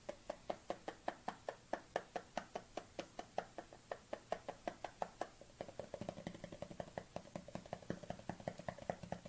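Long nails tap rapidly on the lid and side of a dark plastic collagen supplement tub held at a tilt. The result is a steady stream of short, hollow plastic clicks with a mid-range knock and a bright edge. About halfway through, the tapping grows denser and takes on a fuller, lower tone.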